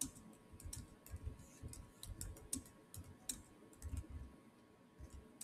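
Fingertips type on the solid keys of a black plastic chiclet keyboard on a silver Samsung laptop, making quiet, irregular clicks. Each keystroke is a short, bright tick over a soft low thump. A faint steady tone near 1 kHz runs underneath.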